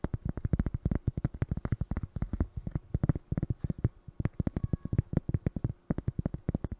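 A small, flat, solid square cork coaster is held in the hand and tapped and scratched with long fingernails. About 50 quick, dull, low taps follow one another with almost no ring, broken by a few short pauses.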